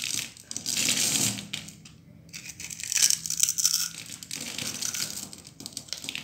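A solid, dry red bar of soap is picked up, grid-cut and shaved with a utility knife blade, and small cubes crumble off. The result is a bright, crisp scraping and crunching with a few short pauses between louder bursts.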